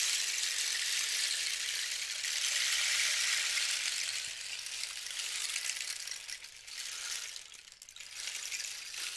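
A long, hollow dried-cactus rain stick with a red band and yellow cords is gripped by hand and turned end over end, so the contents inside rattle and trickle through the tube. It makes a steady, bright, rain-like hiss of tiny pattering grains that fades slightly over time. Brief dips near the end mark where the stick is flipped before the trickle starts again.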